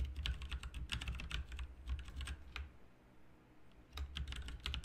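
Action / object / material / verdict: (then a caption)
tap / mechanical keyboard with plastic keycaps / plastic / none. Fingertips type continuously on a backlit plastic RGB mechanical keyboard with plastic keycaps, producing quick, bright clicking keystrokes. The typing pauses briefly near the middle before resuming, over a steady low hum.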